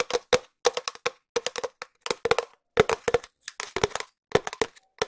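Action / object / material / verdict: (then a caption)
tap / cardboard tube / cardboard / none. A long, empty, hollow cardboard tube, held in both hands near the mic, is tapped with long nails and fingertips. The irregular run of short, dry taps comes in quick bursts and slower single hits. Each tap has a hollow resonance around 430 Hz, a crisp bright click on top, and dies away almost at once.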